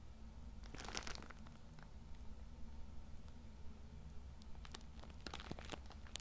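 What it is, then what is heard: Plastic-wrapped tissue multipack crinkled. A Cool Mint tissue multipack wrapped in plastic film and full of small packs is held in one hand while fingertips rub and squeeze the wrapper. Bright, sharp crinkles and crunches come in irregular bursts over a steady low hum.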